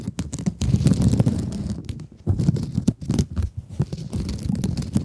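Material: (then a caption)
Plastic mesh. Long nails scratch across a rectangular blue mesh scrub sponge held close to the microphone. The result is a dense, rough, crackling scratch with a heavy low-end rumble, coming in quick uneven bursts with brief pauses.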